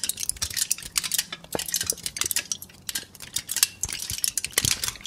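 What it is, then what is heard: Aluminum foil sheet. A thin, loosely crumpled sheet of aluminum foil is held in both hands and crinkled and rubbed with the fingers. It gives a continuous stream of bright, crisp crackles and rustles, with short sharp snaps that die away almost instantly, and very little low end.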